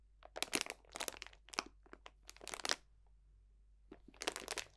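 A clear cellophane bag full of dried potpourri botanicals is pressed, squeezed and crunched with the fingertips. Bursts of bright, crisp crinkling and crackling come in quick clusters, then a pause of nearly a second, then a final flurry of crunching.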